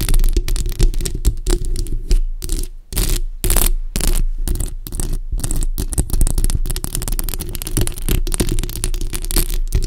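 Long acrylic nails scratch and tap the hollow metal mesh grille of a bare black microphone. Rapid, dense scrapes and taps come through as heavy, boomy low thumps under a steady low rumble, with short bursts of brighter, hissy scratching. There are brief dips between bursts.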